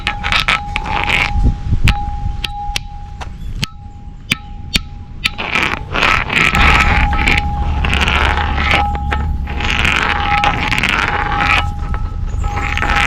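An ancient stone bell is rubbed with rocks, giving a continuous scraping sound over a steady ringing tone that holds throughout. Sharp clicks are scattered through the rub, and it swells louder and denser in the second half. Rubbing draws out a sustained, resonant ring from the bell.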